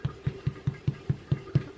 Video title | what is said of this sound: White tin loaf recipe | if it sounds hollow like that, then they are done